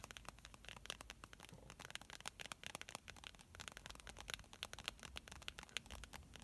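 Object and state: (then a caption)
Plastic squeeze tube, tapped and scratched. A hand-sized pink plastic squeeze tube of face primer, filled with product, is handled with long painted nails and fingertips. Quick, bright taps and scratching across the tube's surface make a steady run of crisp, quiet clicks with a faint crinkly texture and almost no ring.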